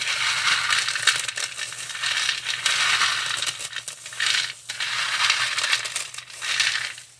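Gloved hands in thin plastic gloves squeeze and crush a pile of expired, dry, crunchy fried chow mein noodle sticks (small, solid and orange) on a clear cut-glass tray. Dense, bright crackling and crunching comes in several swelling waves, with the crinkle of the gloves and the noodles ticking against the glass, over a faint low hum.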